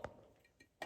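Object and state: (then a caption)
Hollow limestone cave formation. A hollow limestone cave formation in Raccoon Mountain Caverns is tapped lightly, since such formations can break. Four faint, glassy ticking taps are heard, each dying away almost at once, with a clear midrange ring.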